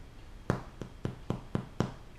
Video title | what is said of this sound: Bench Proof Ep.2: Plain White Sandwich Loaf | it's got a just a hollow thud sound it doesn't sound very solid at all uh that tells you that it's done baking